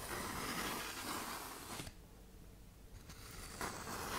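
A tan 120-grit (K120) sandpaper sheet, bent into a curve, has long nails scraped along its gritty side, making a dense, bright, rasping scratch. The scraping fades to a quieter lull near the middle before picking up again at full strength toward the end.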